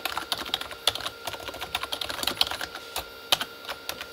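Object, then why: Plastic membrane computer keyboard. Both hands type fast with their fingertips on a Corsair K35 plastic membrane keyboard with red backlit keys. About two dozen short, bright plastic taps and clacks come in a quick, uneven run. Each tap dies away almost at once, with hardly any low end.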